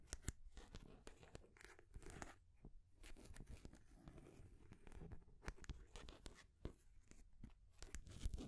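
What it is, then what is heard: Painted wooden stacking ring toy. Long grey nails scratch and tap across the colorful rings of a painted wooden stacking ring toy. The result is quiet, dry scratching broken by sharp, short clicks and taps that die away almost instantly, with a soft low rumble underneath.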